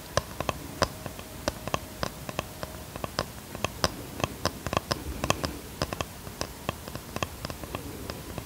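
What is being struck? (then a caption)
Small flat wooden box. A small, flat box of light wood is tapped and scratched with long fingernails. About thirty short, dry taps with a faint ring sound in an irregular rhythm over a soft, steady scratching.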